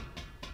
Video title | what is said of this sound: Boiler Basics: Part III - External Components | I have a hollow sound here I have a water sound here